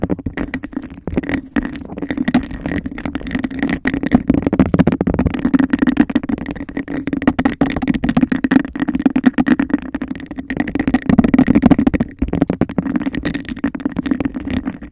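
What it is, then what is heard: Textured glass cup, tapped and scratched. Long acrylic nails rapidly tap and scratch a hollow, empty embossed-glass cup held over the microphone. The result is a dense, continuous stream of quick clicks and rough scraping over a hollow, low-mid resonance, with a faint higher tone riding above. The sound stays busy and close for the whole clip, with only brief gaps.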